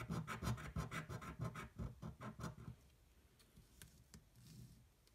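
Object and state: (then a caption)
Paper scratch-off ticket being scratched. A coin scratches the latex panels off a thin coated paper scratch-off lottery ticket held flat with one hand, in quick repeated rasping strokes with a low, gritty body and brief bright scrapes. After about two and a half seconds the strokes stop, leaving a quiet stretch with a few faint, soft scrapes.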